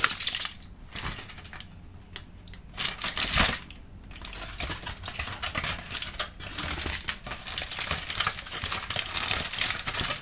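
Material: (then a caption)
Aluminium foil. A loosely crumpled sheet of aluminum foil is squeezed and crinkled in the hands while an orange tabby kitten watches from a distance. The result is a dense stream of bright, crackling crinkles, quieter for a moment near the start, then rising into steady, louder rustling bursts.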